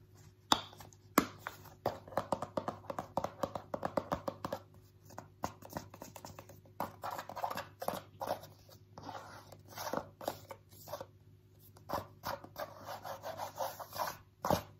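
A small white squeezable plastic cream tube with a pink cap is held in both hands and scratched and tapped with short fingernails. Quick, dry clicks and rustling scratches come in uneven bursts over a faint steady low hum, with a few sharper, louder taps standing out.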